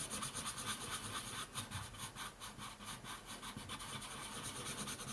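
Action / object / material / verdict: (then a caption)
scrape / colored pencil on a paper sheet over a wooden table / paper / none. A dark colored pencil is scratched quickly back and forth across a thin white paper coloring sheet lying flat on a wooden table to fill in an area. The result is a continuous, bright, papery scratching that rises and falls in a loose rhythm of roughly two strokes per second.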